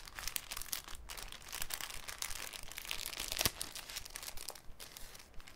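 A large, thin, clear cellophane sheet held over a wooden table is crinkled, bent and flexed by bare fingertips. It makes a continuous, dense, bright crackle of quick, dry crinkles with no ringing after them, and a sharper snap stands out about halfway through.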